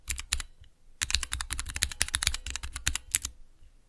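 A small square, clear plastic Cherry MX mechanical keyboard switch tester with clear plastic keycaps is typed rapidly with the fingertips. A short burst of bright, crisp clacks is followed by a brief pause, then a fast, dense run of sharp keystrokes with a low thock under each press. Each click dies away almost instantly.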